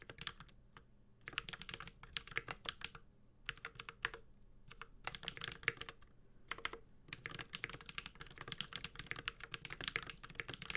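A 65% Space65 Cybervoyager mechanical keyboard with a white-gold aluminum case, carbon fiber plate, plastic keycaps, and tactile Holy Panda switches is typed on steadily with the fingertips of both hands. Bursts of bright, crisp clicks and clacks come in quick runs with short pauses between them. Each keystroke is sharp and dies away almost instantly.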